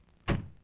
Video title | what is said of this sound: FORD 1957 58 TV Commercials | when you slam the trunk lid of a Ford for instance you hear a good solid sound